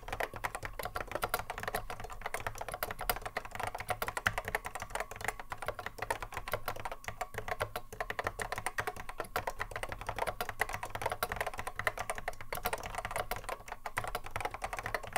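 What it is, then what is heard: Vintage plastic mechanical keyboard. A cream Apple M0110A keyboard with a hollow plastic case and Alps SKCC mechanical switches sits on a wooden desk while fingertips of both hands touch-type on it continuously. A steady, dense stream of short, sharp clacks has a slightly hollow ring and a faint steady hum beneath. The keystrokes run on without pause.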